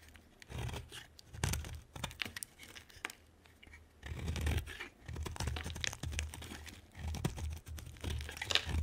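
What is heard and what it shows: A utility knife blade cuts and scrapes a hand-sized, solid orange oval bar of soap with a green rim. The result is a series of crunchy, tearing scrapes in uneven bursts, with bright crackly detail over a dull low thump.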